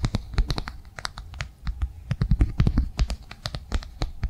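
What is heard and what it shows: Long nails tap and scratch quickly across a flat, rectangular blue plastic cardholder held in the hands. A dense run of short, dry clicks carries a soft low thump, with brief scratchy passes between the taps. The taps stop instantly with no ring.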